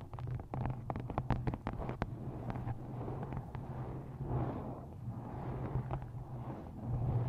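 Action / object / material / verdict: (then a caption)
tap / paperback book cover / card / none. Long nails tap and scratch across the matte card front cover of a paperback book held upright in front of a microphone. A quick run of sharp, dull taps comes first, then gives way to softer, rasping scratches that swell and fade over a steady low, boomy undertone.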